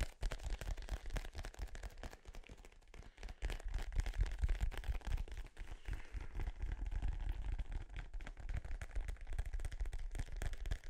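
A small, hollow, inflated dark-blue synthetic-leather soccer ball with yellow print is held in front of the microphone and tapped and scratched with fingertips and nails. Rapid, irregular, boomy low thuds come in a dense stream, with a faint scratchy rustle on top. The tapping eases briefly near the three-second mark before picking back up steadily.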